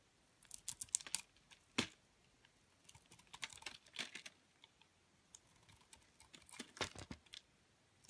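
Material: Soap.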